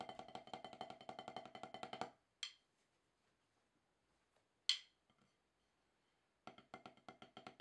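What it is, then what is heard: Rubber drum practice pad. Two wooden drumsticks tap a solid, octagonal HQ rubber drum practice pad with a dark surface. A fast, even run of dry, bright strokes is followed by two isolated sharp hits with quiet gaps between them, then the quick tapping starts again. Each stroke is a short, high-pitched knock that dies away almost immediately.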